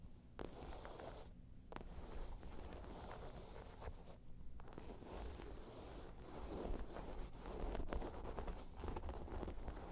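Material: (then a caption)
Faux leather. Long nails scratch the sides of a round, hollow, tan crocodile-embossed faux leather bag, making a dense, irregular scraping rustle. The sound is mostly low and muffled, with brief brighter scratchy strokes and no clear separate hits. It grows a little louder toward the end.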